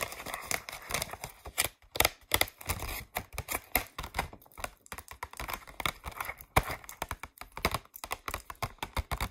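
Long acrylic nails quickly tap and scratch across the ridged surface of a thin white vacuum-formed plastic false eyelash tray with hollow molded cavities, held upright. The result is a dense run of sharp, dry clicks and scratchy rasps with a bright, hollow plastic tone and almost no ring.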